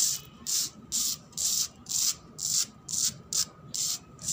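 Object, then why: Cement floor. A cement floor is scratched in nine steady, repeated strokes, each a bright, hissy rasp like rubbing or sanding, with short quiet gaps between them. The sound is almost entirely high, with very little low end.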